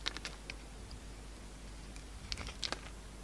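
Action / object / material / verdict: scrape / soap bar and metal blade / soap / none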